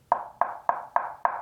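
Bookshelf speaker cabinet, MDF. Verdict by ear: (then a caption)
Dense. Five knocks on the cabinet of a KEF R3 Meta bookshelf speaker, made of 3/4 inch thick MDF with extra bracing. Each knock is short and dull, centered around 700 Hz to 1 kHz, with no low-end boom and almost no ring. It sounds much denser than the Q Concerto Meta cabinet.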